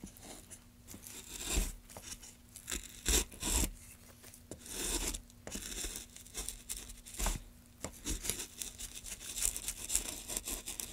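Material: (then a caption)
Pine wood. Gloved hands carve a solid pine wood block with a metal gouge, making many short cuts. Each cut is a brief, bright, rasping scrape with a dry chipping edge, arriving in an uneven string with short pauses between strokes. A faint steady low hum runs underneath.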